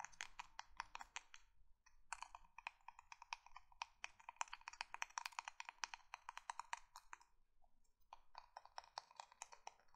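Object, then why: Emery board nail file. Long nails tap and scratch the gritty surface of a small, flat, marbled-print emery board nail file held in the hands. The result is a quick, dense run of crisp, dry clicks with a bright, woody tone centered near 950 Hz, each dying away almost instantly. Two brief pauses break the tapping, just before 2 seconds and again around 8 seconds.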